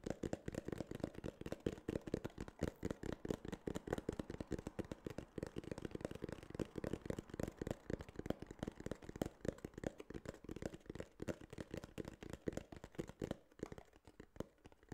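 Fingertips and nails rapidly tap and scratch a small, hollow, rigid tan kraft cardboard case held close to the mic. The result is a dense, steady stream of quick, dull, hollow knocks with a low-mid body and almost no ring, under a faint dry scratching. The tapping thins out and softens slightly near the end.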